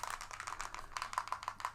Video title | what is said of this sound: VALLEJO METAL COLOR Tutorial | it has got a agitator in it as you can hear